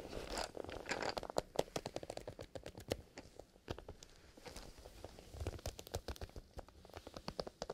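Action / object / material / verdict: scrape / leather zipper pencil case / leather / none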